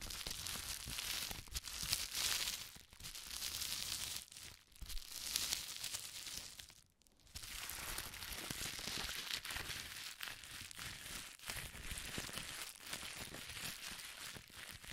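Both hands crumple and twist a strip of clear plastic bubble wrap with air-filled bubbles using their fingertips. The result is a dense, bright crinkling and crunching that continues almost steadily, with a brief quiet dip around the middle.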